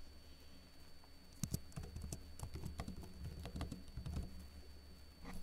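Fingertips with short blue-painted nails type lightly on a backlit plastic laptop keyboard with hollow keycaps. A quick, uneven run of soft, dry clicks and pats plays over a steady low hum and a faint high whine. Each tap is short and dies away at once.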